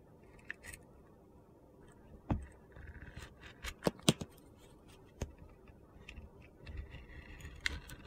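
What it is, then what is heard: Bar soap shaved with a blade. A utility knife blade shaves thin slices off a solid orange soap bar with a pink glitter layer, held in hand. The result is a series of short, crisp scraping cuts and sharp clicks with gritty, bright edges over a quiet, low background.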